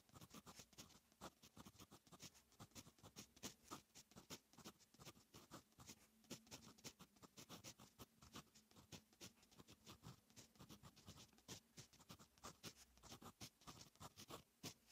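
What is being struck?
Metal fountain pen nib on lined notebook paper.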